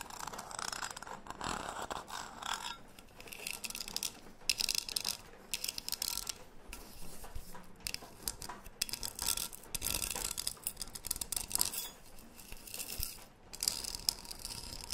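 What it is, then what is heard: Metal tea tin. A closed, medium cylindrical green metal tea tin with a gold metal lid, held in both hands, is tapped and scratched on its sides and lid with long painted nails. Bright, dry scratching and rubbing come in dense bursts with quick ticks and no ring. Quieter gaps separate the bursts.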